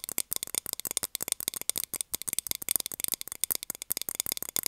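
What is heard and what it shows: A small, round, clear plastic container lid, hollow and empty, is held upright and tapped rapidly with long nails. The result is a continuous stream of crisp, bright clicks that die away almost instantly, with almost no low end.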